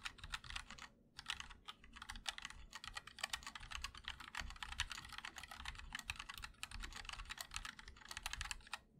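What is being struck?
Mechanical keyboard, aluminum case and plastic keycaps.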